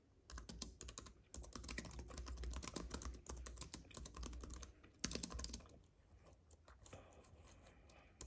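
Fingertips of both hands type rapidly on a compact white wireless keyboard with plastic keys on a silver aluminium base, lying on a dark fuzzy mat. Dense bursts of quick, light clicks pause briefly near the one-second mark, then continue, and grow softer and sparser toward the end over a low steady hum.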